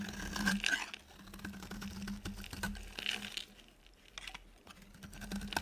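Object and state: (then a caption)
Dry soap bar being shaved. A metal utility blade scrapes and cuts thin shavings from a solid, oval, embossed yellow bar of dry soap held in the palm. The result is a run of dry, crisp, crinkly scraping and crunching strokes with bright peaks, over a steady low hum near 190 Hz.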